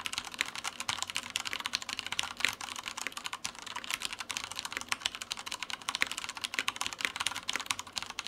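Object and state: Plastic mechanical keyboard.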